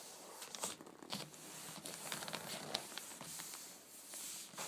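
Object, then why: Paper-wrapped cardboard box. Long nails tap and scratch the top and side of a hollow, flat rectangular cardboard gift box wrapped in black-and-white checkered paper and resting on wicker. The sound is a quiet, bright stream of crisp ticks and dry papery scratches that die away almost instantly, with very little low end.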